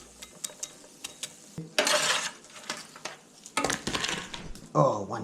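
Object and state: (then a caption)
Crispy roast potatoes. Roast potatoes are tossed and scraped in a pan or tray, giving sharp dry clicks followed by bursts of bright, crunchy scraping. The crisp sound shows the potatoes have roasted crispy and are done.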